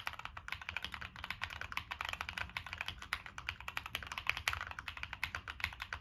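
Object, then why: Mechanical keyboard, plastic keycaps on metal case. Fingertips type steadily on a Monsgeek M1 mechanical keyboard with NK Cream switches, a dark metal case, and purple and black plastic keycaps. The result is a fast, continuous run of crisp, bright clacks that stop short, centered around 2.5 kHz with little low end.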